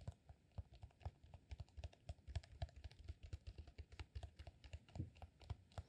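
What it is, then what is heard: Rolled beeswax sheet. A solid cylinder of rolled green, honeycomb-textured beeswax sheet is tapped with fingertips and short nails. About forty quick, irregular taps land as soft, dull, low thuds with almost no ring, like light typing on a keyboard.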